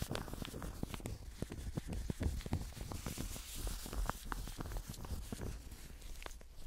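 Blue nitrile-gloved fingertips scratch and grip the surface of a medium-sized, solid stuffed toast pillow made of yellow fleece-like fabric with a brown crust edge. The result is a continuous, soft, muffled scratching and rustling, heavy in low tones, with frequent small crackling ticks throughout.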